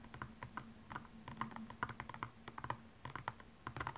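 Long nails scratch and tap across the rhinestone-covered upper of a single blue stiletto high heel as it is turned from front to side. It makes a rapid, uneven run of dry, clicky ticks with short bright edges and almost no ring, over a faint low hum.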